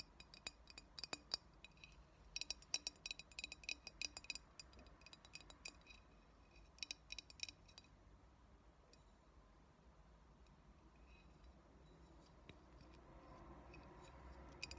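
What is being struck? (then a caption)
Glass bottle. Long nails tap and scratch a hollow, clear glass cold brew coffee bottle with a label. Quick, bright clinks ring briefly, clustered in the first eight seconds, then give way to softer, quieter scratching on the glass.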